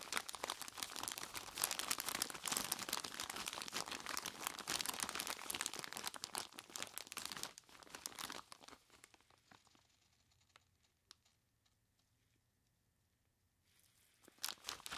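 Purple nitrile-gloved hands grip, squeeze and scratch the sides of a large clear plastic bag full of crushed ice. The result is dense, bright crinkling and crunching for about eight seconds, which thins to sparse ticks and near silence before a short burst of crinkling returns at the end.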